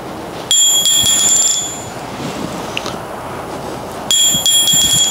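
A ball bearing is dropped about 20 inches onto a striking anvil made from a four-inch-thick block of carbon steel, giving two bright, high-pitched metallic rings that each fade over about a second. The ball barely bounces, with almost non-existent rebound, showing the block is soft compared with hardened anvils.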